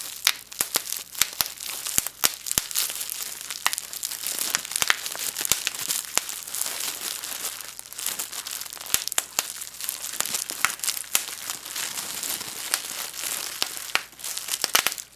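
Clear plastic bubble wrap pieces are held in both hands while the hollow air bubbles are pinched and popped with the fingertips, and the sheet is crumpled as it is handled. Sharp, bright pops crack out irregularly over a steady high crinkling hiss for the whole clip, with almost no low end.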